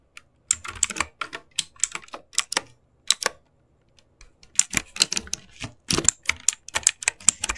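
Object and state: Plastic mechanical keyboard.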